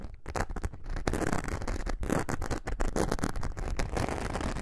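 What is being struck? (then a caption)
Glitter-coated foam craft sheet. A thin, flexible glitter foam craft sheet is held curved while long nails scratch across its glitter surface. The result is a continuous, dense scratching and rasping with quick repeated strokes, heavy in low rumble and with little bright top.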